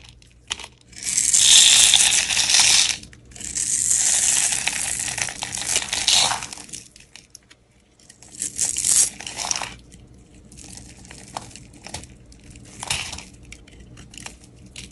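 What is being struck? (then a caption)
Bar of soap shaved with a knife blade. A utility knife blade scrapes cubed layers off a solid round blue soap bar with a white core, held in the hand. Long, bright, hissy scraping strokes come in bursts, with two extended passes early on and shorter ones later. Quieter crackling scratches fill the gaps, and there is almost no low end.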